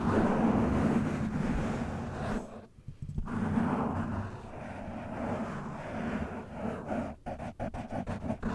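A black foam windscreen on a microphone is cupped in both hands, then scratched and brushed with the fingertips and short nails. The result is a dense, muffled rumbling scrape, heavy in the low range with no bright edge, that briefly drops out near the three-second mark. It ends in choppier, uneven bursts of scratching.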